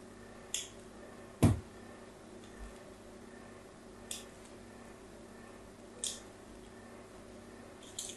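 A solid pink "Absolut" bar of soap held in the hand has its edge scratched with a metal tool. Five short, crisp scrapes with bright, high hiss are heard, spaced apart over a quiet, low background hum. The second scrape also lands with a deeper thump.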